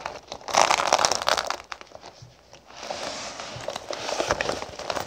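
Fingertips with long pink nails tap and rub across a flat cosmetic pouch covered in small gold sequins with a black sequin logo patch, lying on a wooden table. A dense, bright crinkling and crackling swells for about a second, drops to a near-quiet lull, then returns as a steadier run of softer rustling and clicks.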